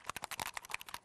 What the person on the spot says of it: you can hear the ball bearing ... i hope it's spinning round so the ball burning will help the um mix it all up